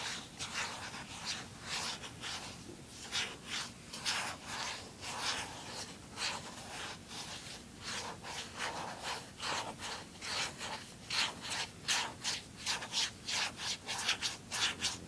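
Fingertips rub and scratch the smooth lid of a small, hollow, closed blue plastic handheld game console. It makes a quiet, steady run of bright, hissy scratching strokes that repeat in quick rhythmic bursts, with almost no low end and very little ring after each stroke.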